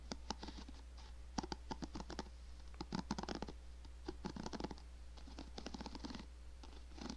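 Long nails tap and scratch the hollow back and bristles of a hand-sized black plastic paddle hairbrush close to the microphone. A quiet, irregular run of sharp, short clicks and bright, crackly scratches is heard, each dying away almost at once, over a steady low hum.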